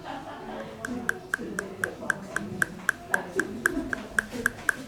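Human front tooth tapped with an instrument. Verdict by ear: Ankylosed.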